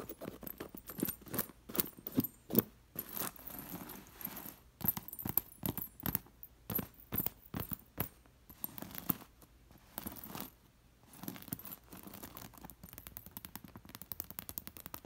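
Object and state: Metal sequin pillow jangling.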